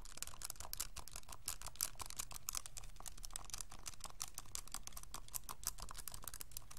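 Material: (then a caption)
Plastic. A hollow pink and white plastic graphing calculator, held in both hands, has its rubbery plastic keys pressed rapidly by fingertips in a steady tapping. Quick, dry, bright clicks follow one another closely over a faint steady low rumble, each dying away almost instantly.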